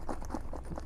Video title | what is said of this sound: Secret Safes: 7 Products Where You Can Stash Your Cash! | you don't want to shake it around. Kind of hear it a little bit.